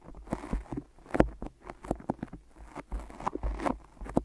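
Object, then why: Tape-wrapped microphone. Fingertips tap and peel on tape-wrapped microphone ears, pressing into the sticky surface. The result is a quiet, uneven series of short, dull taps with soft tacky crackles, mostly in the low and middle range and with almost no bright edge.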